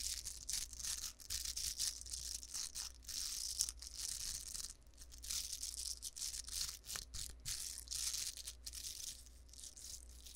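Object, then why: Plastic velcro hair roller. Long blue acrylic nails tap and scratch the bristly velcro-type surface of a hollow, hand-sized pink cylindrical plastic hair roller with a white plastic clip on top, held in the left hand beside the mic. The result is a dense run of bright, crackly rasping and scratching bursts, mostly in the high range, over a faint steady low hum.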